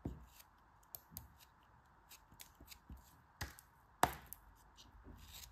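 A solid green kinetic sand block held in the hands is sliced and scraped by a dark-handled knife or cutter while fingertips with long red nails press it. Short, dry cutting taps and soft crumbly scraping rasps are heard, with a steady faint hiss underneath and one sharp, brighter crunch near the end.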